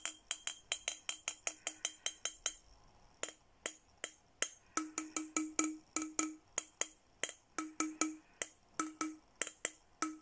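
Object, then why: Glass bottle. A clear, empty, hollow glass milk-style bottle with a printed Hello Kitty design, held in one hand, is tapped along its body with a thin red plastic stick. It gives a rapid run of short, bright clinks with a ringing tone around 312 Hz and a quick decay. After a brief pause the tapping continues in a steady rhythm.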